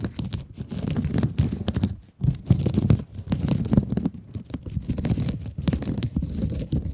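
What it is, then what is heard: Mesh scrub sponge scratched with nails. Long acrylic nails scratch and squeeze a rectangular blue mesh scrub sponge. The result is a dense, continuous run of crinkly, scratchy rasps with a low, muffled body and quick bright flicks. It drops out briefly near the two-second mark before the scratching resumes.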